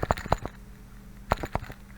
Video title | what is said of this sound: Earphone Case Artisan Holder | you'll hear that it actually is rattling and bouncing around